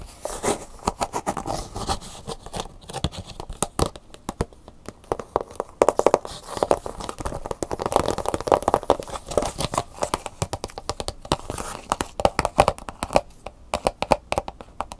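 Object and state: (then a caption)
Plastic blister pack tapped with nails. Long nails tap rapidly on a plastic blister pack with a cardboard insert, first on the plastic bubble on the front and then on the back panel. The fast, dense taps sound dry and crinkly, with a hollow plastic tone in the midrange and very short decays.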